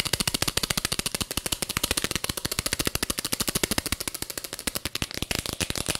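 Long fingernails tap quickly on the sides and black screw lid of a small clear plastic jar filled with purple glitter. About forty sharp, bright, dry clicks come in a fast, steady stream with no ring between them, and the tapping grows slightly denser and more scratchy near the end.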